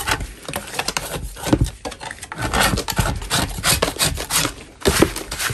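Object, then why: Chalk block. A gloved hand scrapes a large solid chalk block with a metal putty knife, sending crumbs falling. Continuous rough, gritty scraping strokes run with bright rasping texture and short rubbing bursts, the loudness rising and falling with each stroke.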